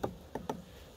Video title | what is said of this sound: USaA - S03 E23 - vivre & laisser nourrir | pour voir si ça sonne creux ou plein les cadres